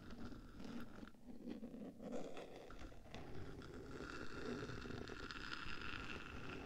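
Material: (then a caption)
Metal. Long black nails scratch and tap on the top surface of the bare black metal body of a 3Dio microphone, near the switches on the hollow box between its ear pieces. A steady, close scratching rasp with soft taps mixed in sits over a dense low rumble, with a faint hollow metallic tone running through it.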